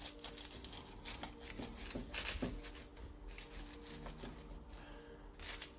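A freshly baked pastry, baked at 180 degrees for 20 minutes until golden brown on top and bottom, is handled and crunched, giving a run of dry, crackly crunches with bright, brief bursts of high-frequency crackle over a faint low hum. The crisp crackling shows the pastry is crispy.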